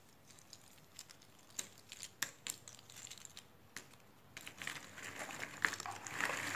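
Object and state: Cardboard jigsaw puzzle pieces being stirred.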